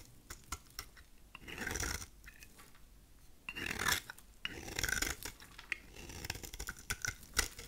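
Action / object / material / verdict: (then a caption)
scrape / bar of soap cut with a blade / soap / none. A solid rectangular bar of dry cream soap is shaved with a utility knife blade into flaky curls. Bursts of dry, bright scraping and cutting alternate with short clicks and quieter gaps. The shavings come off in crisp, rasping strokes.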